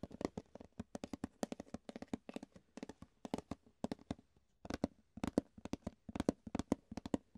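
Fingertips tap and scratch the base and sides of an empty, hollow, rectangular clear plastic food container held upside down. A quick, irregular run of dozens of short, dry, hollow clicks comes in clusters with brief pauses. Each tap stops almost at once and has a low-mid body around 260 Hz.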